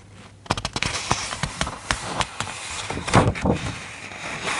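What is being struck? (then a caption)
Hardcover picture book, paper pages. A hand grips a paper page of a large open hardcover children's picture book, flips it over, then rests on the new spread. The page gives a quick run of sharp, crackling paper snaps and rustles with bright edges. The flurry swells around the turn and then eases into softer handling as the page settles.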